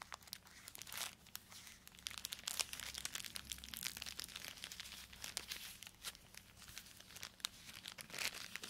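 A small black plastic poly mailer bag is crinkled and torn open along its edge by gloved fingers. Dense, bright crackles and sharp tearing rasps run throughout, with very little low end and no lingering ring.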